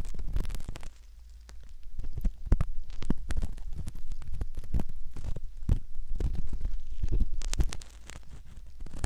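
A curved metal pick scratches the canal rim of a soft silicone ear model. The result is close, muffled, irregular scratching and rubbing that sits almost entirely in the low range, with short soft crackles and brief quieter gaps.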